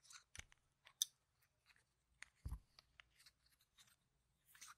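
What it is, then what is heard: Plastic game tokens clicked together. A few yellow-rimmed solid plastic game tokens are held in one hand and riffled and clicked between the fingers and nails. The result is a quiet, irregular series of sharp, bright chip-on-chip clicks that stop dead with no ring, plus one duller, lower knock partway through.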